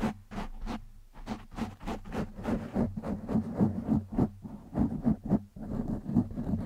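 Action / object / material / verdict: scrape / foam microphone windscreen / foam / none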